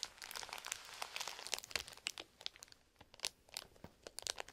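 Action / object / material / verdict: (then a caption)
scrape / plastic toy blister package / plastic / none. Bare fingertips of gloved hands press and crinkle a small, flat, colourful printed plastic toy blister package with a toy inside, lying on a textured mat. The result is a dense run of bright, dry crinkles and crackles with sharp snaps that die away almost at once and carry almost no low end. The crinkling is busiest in the first two seconds, then thins into scattered, separate crackles.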